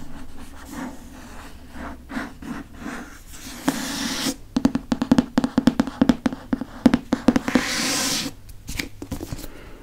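Fingertips and nails tap the back and front of a Prisoner of Azkaban hardcover book with a glossy board cover. Soft, quiet taps at the start give way to a quick, uneven run of sharp, dry clicks over a hollow low-mid thud. Brief bright scratchy rubbing sounds break in twice before the taps fade back to soft ticks.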